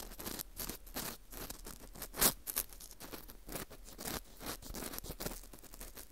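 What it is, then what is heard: Dried wheat gluten (fu) ring scraped. An orange plastic earpick scrapes inside the center hole of a dry, porous slice of dried wheat gluten fu ring. The result is a run of quick, crisp scratching and crackling strokes with bright, airy highs and a faint low rumble underneath. One sharper, louder scrape stands out just after two seconds.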